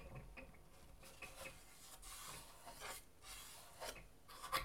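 Fingertips and nails scratch and rub across the inner side of half of a split wooden acoustic guitar, over its thin wooden soundboard, the wooden bracing strips, the round sound hole and the hollow body section. The result is quiet, dry rasping and scraping in uneven bursts of bright, airy noise, with a faint hollow ring at a few contacts and a sharper scratch near the end.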